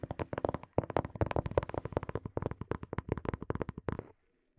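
Fingertips and nails tap rapidly on a small, hollow, black hard plastic earphone case behind the mic, producing a dense stream of short, dull, hollow taps with a low, muffled body. The tapping pauses briefly near the start, continues steadily for about four seconds, then stops, followed by one faint tap at the very end.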